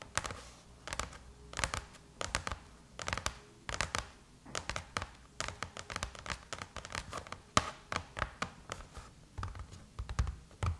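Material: Aluminium.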